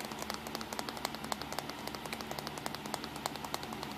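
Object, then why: Plastic compact digital camera. Fingertips tap rapidly on the casing and buttons of a small black plastic compact digital camera, its back side with buttons and control dial facing up as it rests on a towel. About 35 short, dry clicks and ticks with bright, high edges land in an uneven stream over a soft steady low hum.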